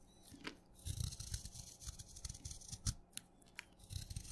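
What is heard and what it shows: A craft knife blade shaves crunchy curls off the surface of a solid blue chalk stick that has been soaked wet and is held in the fingers. Soft, irregular scraping crunches with dull low thuds and brief bright crackles come in uneven bursts, with the sharpest crunches near the end.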